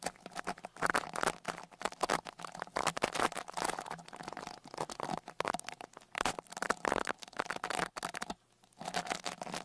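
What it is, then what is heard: Microphone grille being brushed. A small dark rat-tail brush with a wooden handle is brushed directly over one of the two small X-Y microphone capsules of a Tascam Portacapture X8 recorder, across its metal mesh grille. It makes close, dense scratchy swishing and rustling strokes in quick irregular bursts, with a brief near-silent pause toward the end before the brushing resumes.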